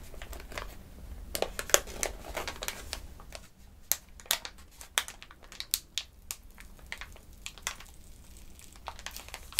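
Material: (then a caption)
Paper. A medium-sized, hollow, partly open white paper glove packet is held in both hands, crinkled and rubbed with the fingertips while its flap is pulled open. Bright, dry crinkles and crackles fire in quick clusters. Sharp snaps stand out over a low, steady hum.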